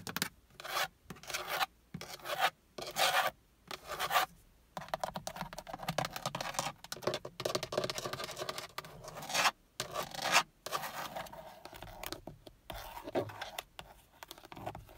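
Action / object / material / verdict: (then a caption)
scrape / plastic steering wheel airbag cover / plastic / none. Fingertips and long nails rub, scratch and tap the black textured plastic airbag cover, a hollow shell, on a Toyota steering wheel. Dry, bright rasping strokes come in short bursts separated by brief silences, with quick light taps that die away almost at once.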